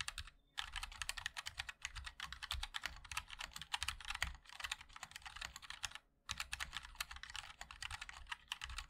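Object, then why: Mechanical keyboard with metal case and plastic keycaps. A 60% MOD-L mechanical keyboard with linear switches, a black aluminium case and white and black ABS keycaps is typed on continuously with the fingertips of both hands. Quick, bright, clicky taps come in a dense stream, each dying away almost at once, over a faint low thump. Typing pauses briefly near the start and again around six seconds.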